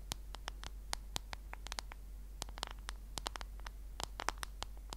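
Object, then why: Smartphone in a plastic case. Long fingernails on both hands tap rapidly and irregularly on the black case of a solid smartphone held horizontally in front of the microphone. Each tap is a sharp, dry click with a bright top and almost no ring, over a quiet, steady low hum.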